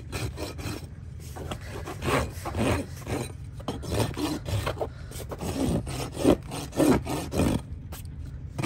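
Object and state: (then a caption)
Horse hoof being rasped. A steel farrier rasp is drawn in repeated strokes across the wall and sole of a trimmed horse hoof of solid keratin horn, held upturned between the farrier's knees. Each stroke makes a coarse, dry scraping rasp, coming at an uneven pace of roughly a hundred strokes a minute over a steady low rumble.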